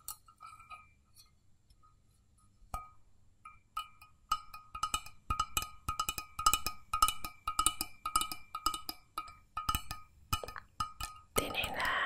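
An empty, hollow stainless steel mug with a wire handle is held in both hands and tapped on its sides with long painted fingernails. The light clicking taps bring out a short metallic ring around 1.25 kHz with a bright overtone. The taps start sparse and soft, then come in quicker, louder clusters, and the clip ends in a brief noisy rush.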